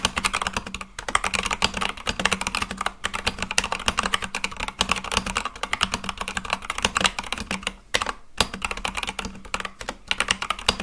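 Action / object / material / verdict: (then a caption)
tap / mechanical keyboard with plastic keycaps / plastic / none. Both hands' fingertips type fast on a full-size Akko mechanical keyboard with white and light-blue plastic keycaps on a black case. It makes a dense stream of sharp, bright plastic clacks with very short decay, broken by brief pauses near 1, 3 and 8 seconds. A faint steady low hum sits underneath.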